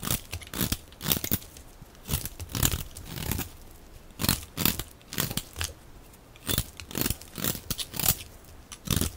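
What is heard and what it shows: A hand-held, hand-sized solid bar of dry pale-yellow soap with a blue edge is scraped and shaved with a metal utility blade. Repeated short, crisp scraping and crunching strokes come in irregular bursts, each with a bright, gritty edge and a soft low thud, separated by quiet gaps as crunchy flakes are shaved off.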